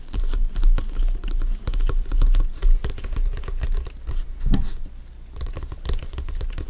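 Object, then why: Synthetic leather soccer ball. A full-size blue stitched synthetic-leather soccer ball, hollow and inflated, is held in both hands and tapped with black-gloved fingertips. Rapid, irregular patter of soft, deep thumps with brief clicky tops, each dying away almost at once. The tapping eases slightly toward the end.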